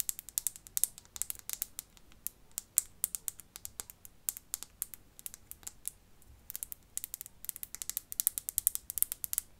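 Fingernails tap rapidly on a perfume bottle, making dozens of quick, bright clicking taps in irregular bursts. Each tap is crisp and dies out almost instantly with no ringing, and the sound stays quiet with almost no low end.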